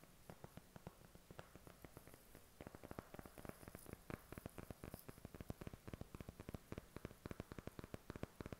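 Short fingernails tap and scratch the cover of a thin, hand-sized, flat white cardboard-covered eyeshadow palette. The result is a quiet, rapid run of short, dry clicks with no ring, over a faint soft scratching hiss.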